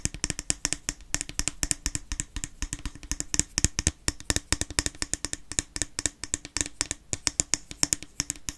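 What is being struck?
Small plastic cream jar with lid.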